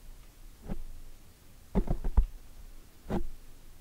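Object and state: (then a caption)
Foam microphone windscreen being tapped and scratched. Long nails and fingertips scratch and tap a black foam microphone windscreen from both sides. The result is muffled, low thumps and soft rustles: a faint brush, a quick cluster of taps, then a final muffled scrape against a quiet hiss.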